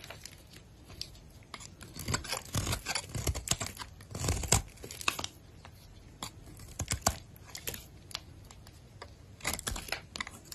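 A box-cutter blade shaves and scrapes flakes off a solid white oval bar of soap held in a hand with long pink nails. Quiet, close, crisp scraping and crunchy tearing strokes come in irregular bursts, each with a bright, gritty edge and a soft low thud beneath it, separated by near silence.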